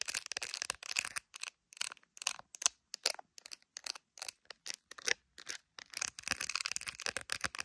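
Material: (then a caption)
Plastic. Long acrylic nails tap and scratch the back of an iPhone in a clear plastic case filled with resin gummy bears, held up to a mirror. Dozens of quick, bright clicks and scratchy bursts come in short clusters, separated by brief silences. The sound is crisp and dry with almost no low end.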